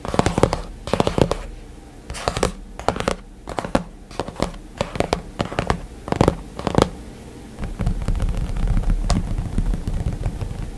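Fingertips of both hands tap and drum rapidly on the hard dark glass screen of a white iPad lying flat with its screen off. The result is bursts of quick, dry clicking taps with almost no ring and a mostly low, muffled body. The taps thicken into a denser, steadier patter in the last few seconds.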